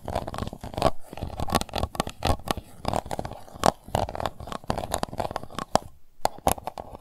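Long nails scratch the bottom and side of an empty, transparent pink plastic cup. The result is a dense run of quick, crunchy, tearing-like scrapes with a hollow mid-range tone and brief bright clicks. Short bursts are separated by tiny pauses, and each stroke stops dead with no ring.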